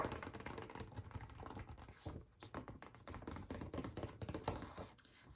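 Fingertips tap rapidly on a small photographic-paper art print of Zuko, producing a dense run of soft, dull taps. The taps are low and muffled with almost no ring, like keyboard typing.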